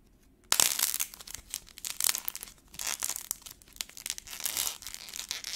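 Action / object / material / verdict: scrape / air-dry clay ball with a black paint coat / paint, clay / none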